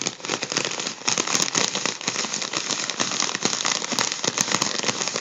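A gold mylar foil balloon is held in the hand while fingers crinkle its wrinkled foil. The result is a steady stream of quick, dense, bright crackles and crisp rustling, with very little low end.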